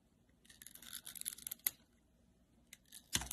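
A palm-sized, solid oval bar of translucent green glycerin soap with glitter is held in the hand and sliced and scraped with a metal utility-knife blade. Soft, crisp, bright scraping crackles run through the first half, broken by a sharp click. After a quiet pause, a final louder cutting snap and rasp follows.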